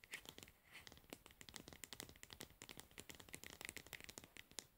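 A plastic cosmetic pad jar is held upright while long nails tap and scratch its pink lid and label. Quick, crisp clicks mix with dry, scratchy rustling, all bright and high with very little low end. Each tap dies out at once, leaving no ring, and the whole sound stays quiet.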